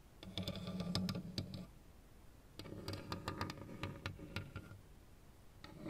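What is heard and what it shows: Fingertips and nails tap a lit plastic Pac-Man and ghosts LED desk lamp, whose hollow shell figures sit on one base. Quick, irregular clicky taps with a hollow, low-pitched knock come in two busy bursts separated by a brief quieter pause.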